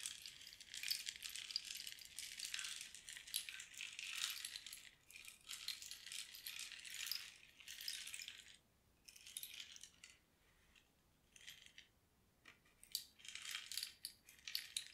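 A long, hollow, dried cactus-wood rain stick filled with small loose pebbles or beads is held in both hands and slowly tilted from end to end, so the filling trickles and rattles inside. The result is a soft, bright, hissing cascade of tiny rattles that rises and fades in waves, with brief quieter gaps as the stick turns over. Metal singing bowls sit idle nearby.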